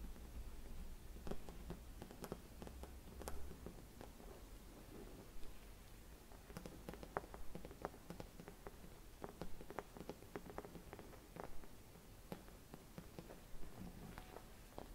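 Long red nails tap and scratch a hollow, silvered mercury glass Christmas bauble with a metal cap. The result is a quiet, irregular run of short, crisp clicks and faint scratchy rustles over a low, steady background hum.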